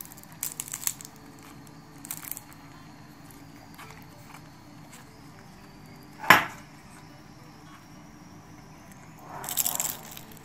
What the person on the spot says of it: Хрупкави са. Ще ви покажа колко са хрупкави.